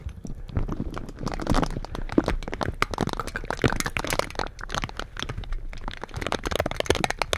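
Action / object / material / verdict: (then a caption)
scrape / metal mesh microphone grille / metal mesh / none. Purple silicone bristle gloves scratch and rub the bare metal mesh grilles of two slim black microphones without foam. The result is a dense, continuous stream of close, crackly scraping with rapid, dry, crunchy ticks and a heavy low rumble underneath.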